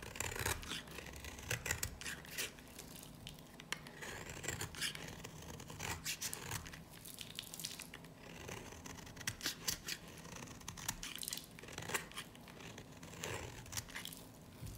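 A dry, varnished solid yellow soap bar is held in the hand and shaved and scraped with a utility knife blade, sending flaky shavings off. Bright, crisp scraping and crackling strokes come in quick, irregular bursts over a low background hum.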